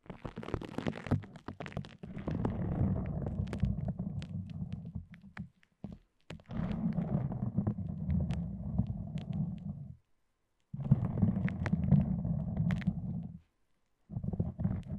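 Long dark-polished nails pull up a red self-adhesive elastic fabric bandage wound around a microphone and peel it off the wrap. The result is bursts of crackly peeling and rubbing with a deep, rumbling low end. The bursts stop in short silent gaps before starting again.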